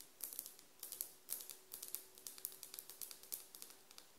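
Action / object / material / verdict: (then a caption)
tap / glazed ceramic floor tile tapped with fingernails / ceramic / none. Long nails on both hands tap and scratch a solid glazed ceramic tile floor around a SHEIN sticker. Rapid, crisp, high clicks follow one another in quick bursts, each dying away almost at once. A faint steady tone hums underneath.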